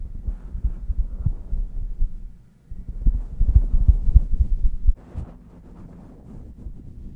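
Long painted nails and fingertips scratch and rub a grey and black striped knit beanie stretched over a microphone, its soft hollow fabric cover turning each stroke into a low, muffled, rapid thumping. The scratching fades almost to silence around two and a half seconds, then returns louder and busier until about five seconds before easing into quiet, steady rubbing.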